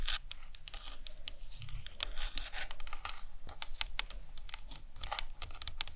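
Long nails tap and scratch the sides and top of the cranium of a hollow plastic anatomical skull model. Quick, dry, bright clicks scatter over a soft, scratchy rustle with a faint low hum beneath. Each tap stops at once with no ring.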